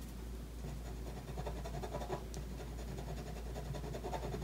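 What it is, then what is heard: Pen drawing on a paper sheet. A pen scratches across a thin white paper sheet bearing an ink drawing, which lies flat on a wooden table while the other hand holds the sheet steady. Continuous, irregular scratchy drawing strokes with soft rubbing textures sit over a steady low hum throughout.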